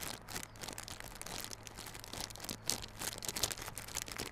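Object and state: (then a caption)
Cardboard box in plastic wrap. Fingers scratch and squeeze the clear plastic film wrapped around a small, hollow, yellow cardboard Realme Buds Classic earbud box held in both hands. The result is a continuous, bright crinkling and scratching texture with dense, crisp crackles and a faint low hum underneath.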